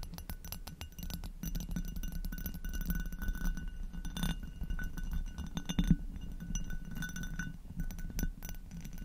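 Long acrylic nails on both hands tap and scratch the bowl of an inverted, hollow amber hobnail glass goblet with a textured surface. A steady stream of quick, dense clicks and scratchy rasps sits over a low, hollow hum, with bright glassy clinks flicking through.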